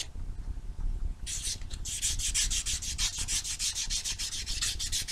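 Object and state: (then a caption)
Foam nail buffer block. A small solid foam nail buffer block with white and blue abrasive sides is rubbed back and forth over fingernails. After about a second of low background rumble, a steady run of quick, bright, scratchy strokes begins and continues to the end.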